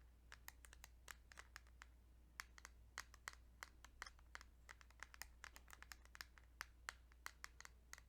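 Fingertips tap on a plastic Kirby's Dream Land 2 Game Boy cartridge in a rapid, irregular run of short, dry clicks with a bright edge and almost no ring. The taps sit over a steady low hum in a quiet, close setting.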